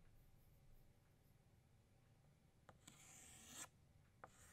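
An orange chalk stick draws new circles on a flat black chalkboard. Over a quiet low background hum, a few sharp chalk taps lead into a sustained, bright, raspy scraping stroke, followed by one more short tap.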